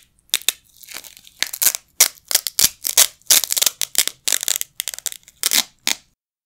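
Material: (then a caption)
Nylon. A pair of small, flat yellow nylon hook-and-loop Velcro patches is held in both hands with the fingertips and ripped apart repeatedly over a carpet, at varying speeds. Each pull gives a bright, rasping tearing burst, some quick and short and others drawn out, with almost no low end and short silent gaps between them.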